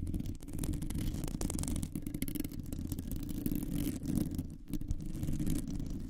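Long nails scratch and tap on a round, hollow metal mesh microphone grille. The result is a steady, close, low, rumbling scrape with quick crackly ticks running through it and very little high-end brightness.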